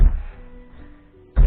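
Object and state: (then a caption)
Hollow floor. A foot stomps hard on a hollow floor during belly dance practice, giving two deep, low thunks with a short decay. Quiet music plays in the background, and the boomy thunk marks the floor as hollow.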